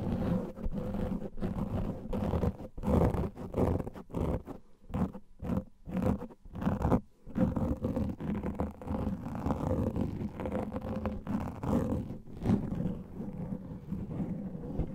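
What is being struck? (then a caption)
Foam microphone windscreen. Long nails and fingertips scratch a soft, porous black foam microphone windscreen, making dense, low, muffled rustling and scraping. The sound comes in continuous bursts with short gaps and almost no high-end brightness.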